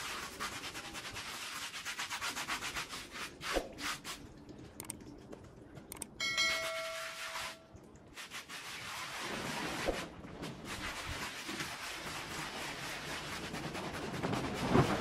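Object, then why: Woven pile rug. A handheld scrub brush works back and forth over a small, muddy, patterned pile rug lying flat on the floor, wet and soapy, with foam spreading; the fiber type is uncertain. Steady, bright, wet rasping strokes fill most of the clip. They pause twice, and during the first pause a brief clear ringing tone sounds before the scrubbing resumes.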